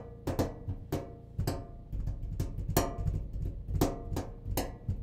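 The cabinet of a clothes dryer is tapped by hand in an irregular rhythm, giving nine hollow, drum-like thumps. The sound is dominated by low, boomy resonance, with a faint tone around 690 Hz and quick decays between hits.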